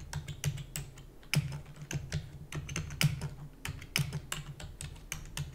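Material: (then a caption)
Plastic. A black plastic computer keyboard is typed on quickly with long nails, producing a rapid, uneven stream of sharp, bright clicks and taps. A steady low hum sits beneath the keystrokes, and a few strokes land noticeably harder than the rest.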